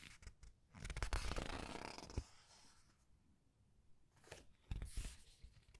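Red-nailed fingers rub a printed color paper page of a large open paperback art book and turn it over. A long, soft, bright papery rustle swells and ends in a crisp flap. After a quiet pause, shorter brushing swishes follow as the page is handled again.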